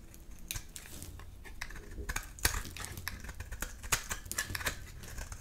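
A solid, dry round bar soap, white inside with a black outer layer, is held in one hand while thin layers are scraped and carved off with a utility knife blade. The result is a run of quick, crisp scraping and cutting clicks with bright, crackly edges over a faint low hum.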